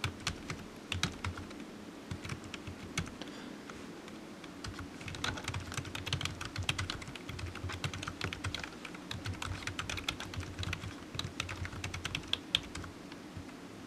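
Fingertips of one hand type steadily on a low-profile black plastic computer keyboard resting on a desk mat, its hollow keys giving quick, bright clicks that stop sharply. The tapping keeps an even, continuous pace over a steady low hum.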